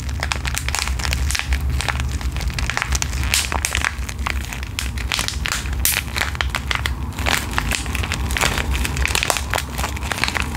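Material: Plastic foil.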